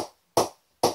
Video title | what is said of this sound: CA SM-18 Cricket Bat Review | ball is still bouncing at a decent height